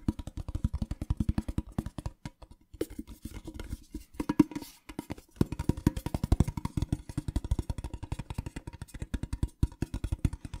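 A small, hollow, printed metal tin box is tapped with fingernails while it is rotated. The result is a rapid, dense run of short, dry ticks with a low, hollow body around 300 Hz and almost no ring, with a few brief pauses between bursts.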